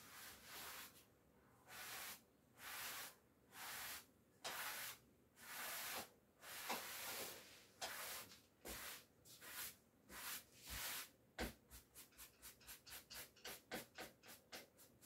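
A wooden-backed bristle clothes brush is rubbed in repeated strokes over the back of a navy cotton twill coat hanging on a door, to remove hairs from the fabric. Each stroke makes a bright, airy hissing swish with almost no low end. The strokes are slow and evenly spaced at first, then become short and rapid toward the end.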